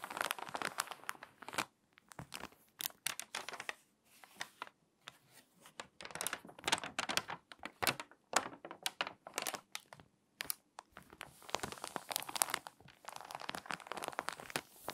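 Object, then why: Glossy paper magazine. Long-nailed fingers turn a page of an open, water-damaged glossy paper magazine and press along the spine crease. Dense bursts of crisp crinkling and crackling paper come in clusters separated by brief quiet gaps. The sound is bright and dry, with almost no low end and no lingering ring.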